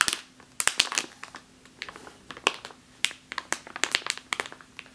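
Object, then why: Plastic bag filled with flour. A full plastic bag of flour resting on a table is tapped and scratched along its top with long nails. About twenty sharp, bright crinkling taps and scrapes sound in uneven bursts, each dying away almost instantly, with a faint steady low hum beneath.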